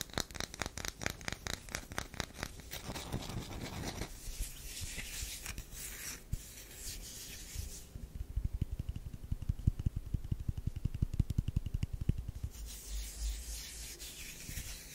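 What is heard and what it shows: A solid tan bar of soap is rubbed and scratched by long nails and fingertips. Quick, irregular scratching strokes with bright, hissy texture open the clip, then give way to softer rubbing and a run of dull, low scratches.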